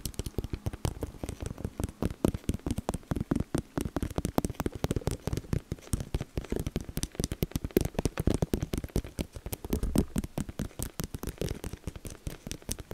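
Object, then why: Plastic decoration. A plastic decoration is tapped rapidly and continuously for ASMR, producing a dense run of short, dry clicks. Each tap is quick and clipped with almost no ring, and the sound sits mostly low with a soft hollow tone and little bright content.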